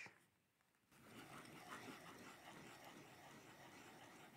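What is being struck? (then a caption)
Pencil on paper sketchbook page. A pencil held in a gloved hand scratches across the page of an upright paper sketchbook with a card cover while sketching. After a brief, near-silent pause, a steady, soft, dry scratching starts about one second in and continues to the end, bright and broadband with little low end.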